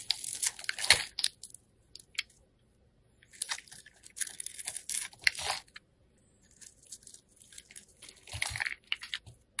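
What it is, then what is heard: Soap bar being cut. A solid yellow oval soap bar held in the hand is cubed and shaved with a metal box cutter blade. Crisp, bright crunching and scraping come in three bursts separated by brief quiet gaps, with almost no low end.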